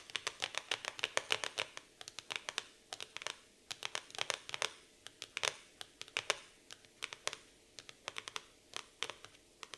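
Long nails tap and scratch the glossy laminated cardboard cover of a black floral hardcover notebook, making a dense run of short, sharp, bright clicks with quick scratchy strokes between them. The hits are crisp and dry, with almost no low end and virtually no ring.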